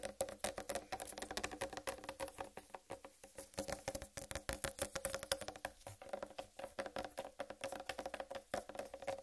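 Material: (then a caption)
Fruit rind. Long red nails rapidly tap and scratch across the solid rind of a large, whole, uncut watermelon. A dense stream of short, dry clicks carries a hollow tone near 550 Hz, with bright scratchy texture between the taps. Each tap dies away almost instantly.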